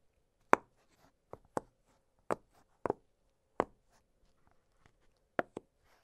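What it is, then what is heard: Silicone pop-it fidget toy. An octagonal blue silicone push-pop fidget toy has its bubbles popped with fingertips. Short, dry pops come at irregular intervals over quiet, with some close together in pairs. Each pop is brief with almost no ring and sits mostly in the mid range.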